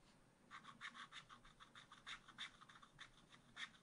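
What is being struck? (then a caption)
Coated scratch art paper and wooden stylus. A wooden stylus scratches small hearts into the right edge of a black-coated scratch art card in a spiral pad. It makes a quick, uneven series of short, dry scraping strokes, bright and hissy, with energy concentrated around 1–2 kHz and higher. The strokes stop abruptly with no ring, over a faint quiet background.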